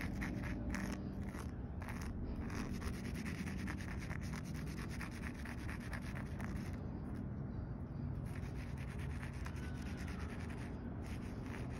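Fingernails scratch and fingertips rub across the top surface of a solid concrete curb with a rough aggregate surface. A steady, low, gritty rasp runs throughout, with quick scratchy strokes that blur together rather than standing apart.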